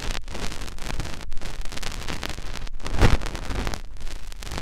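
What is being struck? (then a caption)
Silicone ear of a binaural microphone. Fingertips rub and press into the ear canal of a white, soft silicone ear mounted on a white binaural microphone body. The result is a close, continuous muffled rubbing and crackling with a deep low rumble and brief near-silent gaps between strokes, peaking a little past the three-second mark.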